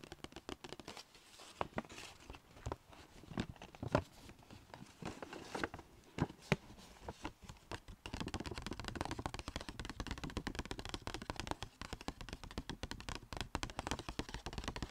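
Long nails tap and scratch the surface and edges of a small, hollow, striped Sephora paper bag. Sharp, papery taps come in scattered bursts for the first eight seconds, then turn into a dense, rapid run of tapping and crinkly scratching that continues to the end.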